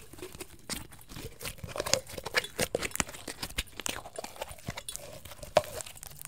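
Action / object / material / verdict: tap / thin plastic water bottle / plastic / none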